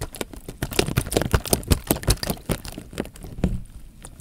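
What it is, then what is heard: Water-filled plastic bag. Fingertips press and rub the film of a clear plastic bag full of water held horizontally, producing a rapid, irregular series of soft crinkles and short, dull taps. Each press has a low, thumpy body with quick bright ticks of plastic, and they die away almost instantly between touches.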